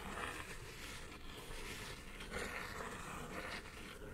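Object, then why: Kraft cardboard mailer box. Long nails scratch and tap the top of a hollow brown kraft cardboard mailer box lying flat on a table. A quiet, continuous dry rasping runs through the clip, with brighter scratchy swells recurring every second or so.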